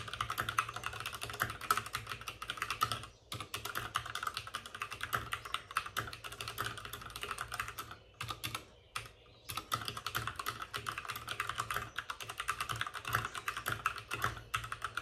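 Both hands type rapidly with short-nailed fingertips on a white full-size plastic mechanical keyboard with plastic keycaps and RGB backlighting, sitting on a desk with a padded wrist rest. The result is a dense stream of short, crisp clacks centred around 1.3 kHz with bright edges, broken by brief pauses near 3 seconds and between about 8 and 9.5 seconds.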